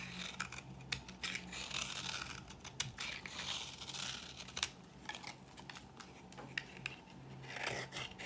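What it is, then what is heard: Dry bar soap scraped into flakes. A thinner bar of dry, solid cream soap is scraped with a metal blade, shaving off crunchy flakes. It makes a run of quick, dry, bright scratching crunches with short sharp peaks, over a faint low steady hum.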